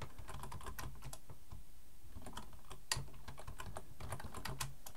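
Both hands type with their fingertips on a black plastic full-size computer keyboard resting on a wooden desk. A steady, quick stream of soft clicking key taps carries a low, thuddy body, with one slightly sharper tap near the middle.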